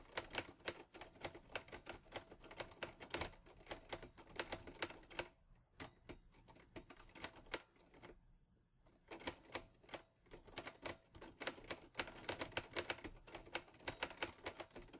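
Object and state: Metal portable typewriter being typed on.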